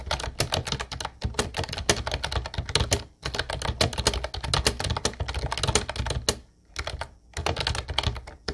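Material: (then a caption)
Plastic. Fingertips rapidly tap the round white keycaps of a light blue plastic retro-style Ubotie keyboard. The result is dense bursts of crisp, bright clicks over a low thud from each keystroke, with brief pauses between runs of typing.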